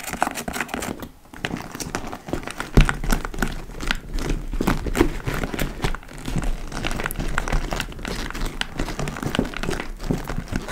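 Long almond-shaped nails scratch and tap along the top edge and front flap of a large, hollow, dark-brown leather (likely faux) tote bag. The result is a dense, continuous crinkling and scratching texture with quick soft taps, weighted toward low, hollow tones.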